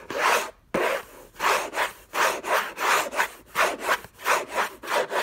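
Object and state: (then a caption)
Cardboard gift box scratched with fingernails. Fingertips and short nails scratch hard across the textured paper-covered rigid cardboard lid of a large, flat, hollow, closed orange Hermès gift box. The result is a series of rough, rasping scratch strokes at an irregular pace, about 87 per minute, with a brief pause near the start. Each stroke is dry and airy, centred in the midrange with a bright, hissy top and almost no low end.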